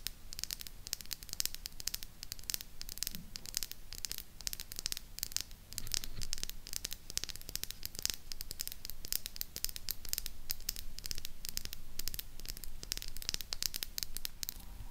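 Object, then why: Small plastic lip gloss tube. A small Revolution lip gloss tube of clear plastic with a silver cap, filled with pink gloss and held in both hands, is tapped and scratched with long pink acrylic nails close to a mini microphone. Rapid, dry, bright clicks and scratchy rustling run throughout over a low, muffled rumble, growing louder and denser after about six seconds.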